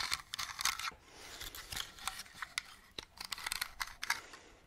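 Long nails tap and scratch the sides of a small, hollow, hand-sized purple plastic Halloween lantern with a witch cutout, held close to the mic. The clip is a quick run of bright, hollow plastic clicks mixed with thin, high scratching, each tap dying away almost at once. There is very little low end.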